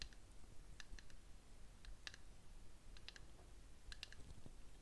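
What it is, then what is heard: Ceramic candle jar. A small cup-shaped ceramic candle jar, filled with wax and burning, is held in the hands and tapped on its side with fingernails. The result is quiet, sharp, bright clicks in irregular clusters that die away almost instantly, over a soft low background hum.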